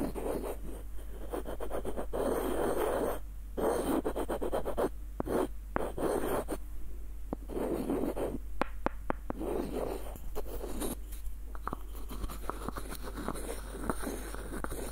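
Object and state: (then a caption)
Wooden screw nutcracker. Fingernails scratch along the body and threaded screw of a small, hollow, light-wood screw nutcracker, producing soft, dry, rasping scrapes in bursts. Between the scratches come brief pauses and a few sharp little clicks and ticks.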